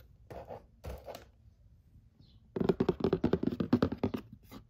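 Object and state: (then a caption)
Cardboard game box lid scratched. Fingertips and nails scratch across the glossy printed lid of a large, flat, hollow cardboard "Murder Mystery" board game box. Two short, soft scratching strokes come first, then a pause, then a louder, faster run of dry, rasping scratches that fade slightly at the end.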